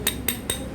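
The steel connecting rod of a Honda Impresa motorcycle engine, split open with a loose big-end bearing, is tapped three times. Each tap gives a short, bright metallic clink with a low ring. The rod has a very large gap and is very loose, and the bearing shows some play, so the parts need replacing.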